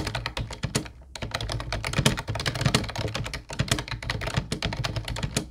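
Fingertips of both hands type on an Ubotie plastic retro keyboard with a mint-blue body and round white keycaps, making a rapid stream of short, crisp clacks. Each keystroke has a bright click over a hollow low thock. A brief pause near the one-second mark breaks the steady typing, which then continues to the end.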